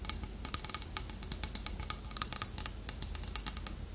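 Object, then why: Carved wooden toucan figurine. Long nails tap quickly on the beak of a small, solid, polished dark-wood toucan carving held in the hand. The result is a fast, uneven run of crisp, bright clicks that stop dead with almost no ring, over a faint low background hum.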